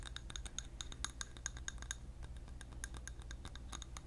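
A large clear glass candle jar filled with orange-yellow wax, held in the hand close to the mic, is tapped and scratched with fingernails. Quick, bright glassy clicks and ticks come in a steady run with faint scratchy texture between them. A low steady hum sits underneath.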